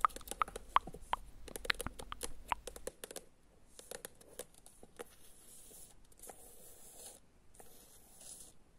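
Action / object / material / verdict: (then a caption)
tap / paperback book with glossy cover / paper / none. Long acrylic nails tap and scratch the illustrated glossy cover of a medium, solid paperback book held upright. Quick, sharp clicks come in an uneven run during the first few seconds, then give way to softer, sparser taps and a bright, hissy scratching.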